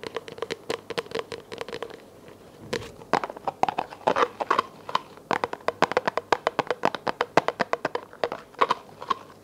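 Long nails tap on a small, hollow, empty clear plastic container held in both hands. The result is a quick, uneven run of sharp, dry clicks with a hollow midrange tone and almost no ring, broken by a brief lull before the tapping picks up again.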